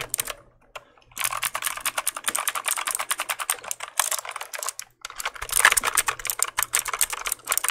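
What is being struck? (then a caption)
Plastic mechanical keyboard. A black plastic mechanical keyboard, held in the hands, has its keys pressed and clicked with the fingertips. The result is a rapid, dense run of sharp, bright clicks that die away almost instantly, with a brief pause near the start and another around the five-second mark.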